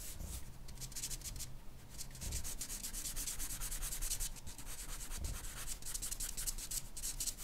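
A charcoal pencil scratches and shades short, rapid strokes across a flat white drawing paper sheet with a portrait on it. The result is a steady, dry, bright scratching over a faint low rumble.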